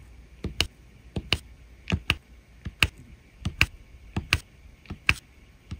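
A drill pen taps small resin rhinestone drills down one by one onto the adhesive surface of a diamond painting canvas. The taps come in quick pairs: a softer tick followed by a sharper, brighter click. Each is very short with a light low thump and dies almost instantly against a quiet background.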